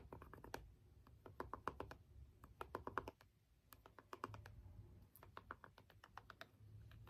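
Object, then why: Small plastic remote with rubber buttons, tapped with a stone roller. A small hollow plastic LED remote has its rubbery buttons pressed and tapped with the end of a small green jade stone roller. It makes a long, uneven series of quick, dry clicks and taps with a hollow mid-pitched tone over a faint low rumble, and each tap dies away almost instantly. There is a short lull just after the midpoint before the tapping resumes.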